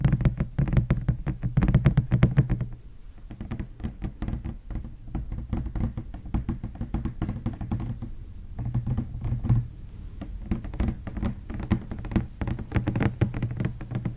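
A large, flat, hollow ASRock B650E Taichi Lite motherboard retail box of glossy black printed cardboard is held up in both hands and tapped with the fingernails and fingertips. The result is a rapid, continuous patter of dull, hollow thumps and knocks, low-pitched and deadened with almost no ring, growing denser and louder in bursts.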